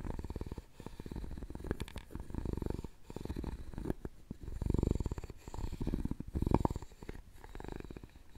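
A wooden stick scrapes across the lid and side of a hollow, round openwork carved wooden jewelry box. It makes soft, low, rapidly ratcheting rasps in uneven bursts, almost like a purr, with little brightness.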